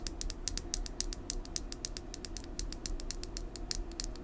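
A small, full red lip gloss tube with a clear plastic body and metallic cap is held in hand and tapped and scratched with long nails. A quick, uneven run of sharp, bright plastic clicks and scratches sits over a low, steady background hum.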